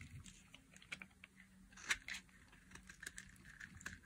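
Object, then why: Bar of soap scraped with a metal blade. A metal blade scrapes and cuts curls off the end of a solid, hand-sized orange bar of dry soap. Quiet, dry, crisp scraping ticks and crunches with bright high texture, with a louder crunchy cut near the middle and a steady low hum underneath.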